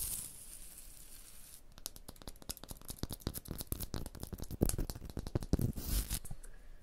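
Long blue nails tap and scratch a rough, pitted textured stone block wall. After a second and a half of faint hiss, a rapid run of dry, sharp clicks and scrapes begins, each dying away almost instantly. The sound grows denser and louder toward the end, with a few brief rasping scratches.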